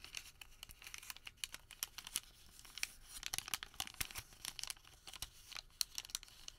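A thin sheet of printed thermal paper receipt is folded, rolled into a tube and squeezed with bare fingertips. The result is quiet, dense crinkling and crackling, with sharp, bright snaps over a soft papery rustle and almost no low end.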